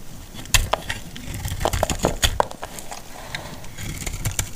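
A utility knife blade repeatedly cuts shallow slices into a solid, dry green laundry soap bar and scrapes off flakes. Sharp, dry crackling snaps and crisp scraping ticks come in quick irregular bursts. Each bright transient dies away almost instantly over a soft low rumble.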